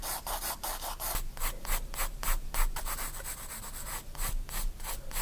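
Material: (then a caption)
Paper. A graphite pencil hatches curved lines on a page of a spiral-bound paper sketchbook. It makes a quick, fairly regular series of short, dry, scratchy rubbing strokes, about three or four per second, with bright hiss above a low background rumble.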